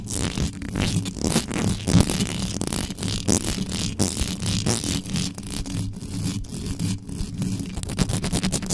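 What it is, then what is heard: Metal microphone grille scratched. Long yellow nails on both hands scratch fast and hard at the sides of the uncovered mesh grille of a black metal USB microphone. The result is a dense, continuous rasping scrape with a heavy low, boomy rumble and bright, gritty edges.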